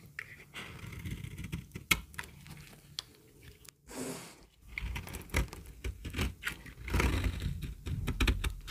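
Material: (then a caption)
Soap. A solid yellow bar of dry soap held in the palm is scraped again and again with a knife blade, lifting brittle shavings. Short, crisp scratching strokes with sharp clicks come over a low rumble, and a brighter hiss swells in the middle and near the end.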